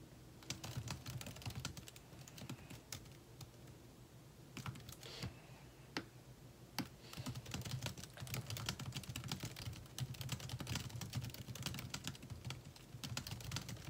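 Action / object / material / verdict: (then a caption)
tap / laptop keyboard with plastic keys / plastic / none. Fingertips type quickly on the plastic keys of a thin metal laptop keyboard, producing dense, crisp, bright clicks and taps over a steady low hum. The typing eases briefly around four seconds, then resumes in rapid bursts to the end.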